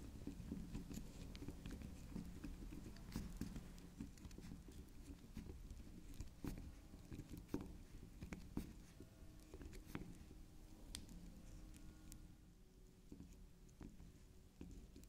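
Long pink acrylic nails tap and scratch into the spiral top of a small, solid, cylindrical bar of soft pink soap shaped like a pink swirl candy. The result is a quiet, irregular patter of soft, dull taps mixed with grainy scratching, mostly low in tone, with faint bright clicks that die away almost instantly.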